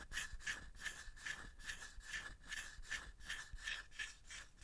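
A small hollow bamboo box or tray, held in both hands, is scratched and rubbed with the fingertips and nails. Twelve quick, rhythmic scratching strokes come through as dry, bright, hissy rasps with a faint ringing tone near 1.8 kHz.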